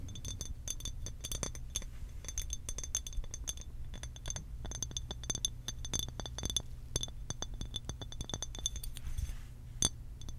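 Long pink acrylic nails tap and scratch a hollow blue glass water bottle with a cap. Rapid, bright clicking taps ring with a high glassy tone near 3.5 kHz and fade almost instantly, over a steady low rumble and light scraping.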